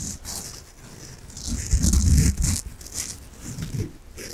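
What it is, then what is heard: Soft foam bath sponge. A peach foam bath sponge is scratched and rubbed with long nails, making soft, muffled rustling and scratching with a deep low rumble and thin bright hiss on top. The strokes come in uneven waves, swelling to their fullest and loudest in the middle before easing back to quieter rubbing.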